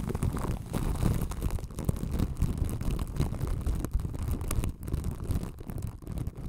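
Long white acrylic nails scratch and tap clear plastic film wrapped over the metal grille and hollow body of a white ball microphone. The result is a continuous, dense, muffled crinkling and scratching rustle, heavy in the low end with brief soft taps and little brightness.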